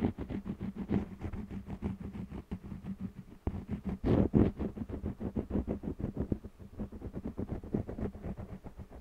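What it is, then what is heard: Cotton canvas panel rubbed with crayon. An orange jumbo wax crayon rubs and scratches across a small stretched cotton canvas panel held in one hand while coloring. Quick, irregular strokes make a dry, raspy scraping texture. The sound is mostly low and muffled, with a slight surge partway through.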